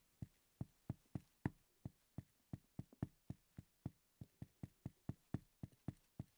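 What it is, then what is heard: Solid wooden toy block. The tip of a wooden pencil taps and knocks on top of a small, solid wooden letter block (X) resting on a table. About two dozen short, dry, low knocks come in an uneven rhythm, each dying away almost instantly with no ring.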